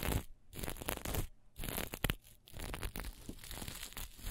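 A piece of green and black plastic sequin fabric is held and pinched in the hands, then scratched with long nails. It gives dense, bright crinkling and rustling bursts with short quiet gaps in between, followed by a steadier stretch of scratchy, crunchy friction.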